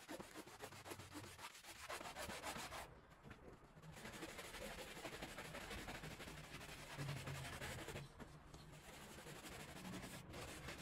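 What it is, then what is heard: Wet woven rug being scrubbed. A gloved hand scrubs a small woven rug, thick with soap foam on the floor, with a handheld brush in back-and-forth strokes. The result is a steady, wet, broadband rasping and swishing at a brisk rhythm, with bright bristle noise throughout. The scrubbing briefly thins out around three to four seconds and again near eight seconds.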